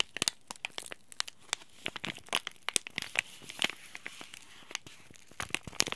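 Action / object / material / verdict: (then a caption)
scrape / laminated plastic-foil tea bag packet / plastic foil / none. Fingers squeeze and crinkle a small green plastic-foil tea bag packet of laminated film, holding a tea bag, near its edges. A rapid series of sharp, bright crackles and crisp crinkles pops out over a faint hiss, each snapping off almost instantly.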